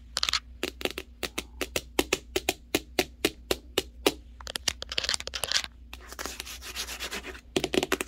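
Fingertips and long nails tap and rub on a large, hollow corrugated cardboard TV box bearing the Hisense Roku TV logo. Crisp, bright taps come at a steady pace, then turn into quick flurries and a dry, scratchy rubbing before sharp taps return. Each tap dies away almost instantly over a faint, steady low hum.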